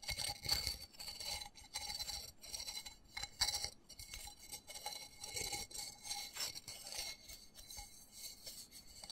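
Fingernails scratch and tap quickly on the embossed side of a small black textured plastic flower pot holding soil and a cactus, held in both hands. The result is a steady run of bright, dry scratches and crisp clicks that stop dead with almost no ring, with a few louder bursts of tapping among them.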